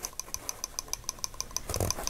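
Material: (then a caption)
Ink. A refillable ink pen, filled with India ink, reassembled and capped, is shaken close up, producing over a dozen quick, bright, evenly spaced rattling clicks. Toward the end, a denser, louder low rumble joins the clicks. The rattle means the ink is activated and the pen should work.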